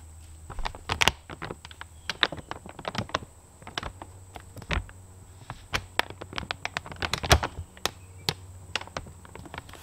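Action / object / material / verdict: tap / woven polypropylene feed sack / woven polypropylene / none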